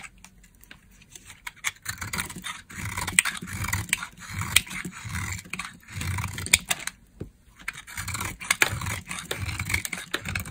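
A metal blade carves and scrapes crumbly slivers off a dry, solid tan-brown laundry soap bar, now thinner and held in hand. Bright, crackling scrapes come in uneven bursts with sharp little snaps and soft low thuds, separated by short quiet gaps.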